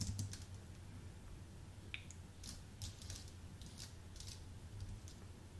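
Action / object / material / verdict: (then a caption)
tap / keyboard with plastic keycaps on an aluminium base / plastic, aluminium / none. Fingertips type on a white, full-size Apple Magic Keyboard with plastic keycaps on an aluminium base. Soft, bright key taps come in irregular bursts over a steady low hum.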